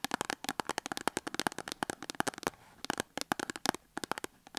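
A small printed cardboard box holding a Dettol soap bar is held in the hand and then set on a table, where long acrylic nails scratch and tap it. Quick, dry, crisp clicks come in rapid bursts, with a brief quiet pause partway through.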